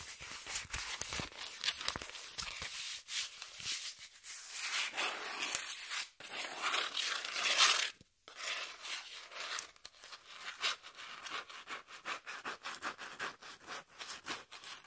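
Long nails scratch and rub the face and edge of a brown corrugated cardboard piece held upright. Dry, bright rasping and crinkly scraping strokes come in quick bursts with almost no low end, breaking off briefly near the middle before resuming.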